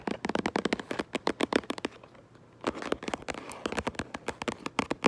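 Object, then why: Cardboard box. Long purple acrylic nails tap rapidly on the front of a medium hollow cardboard Minecraft Lego set box, likely full of bricks, giving about 29 short, dry, crisp clicks. Around the two-second mark the tapping briefly gives way to a soft scratching sweep across the cardboard before the quick nail taps resume.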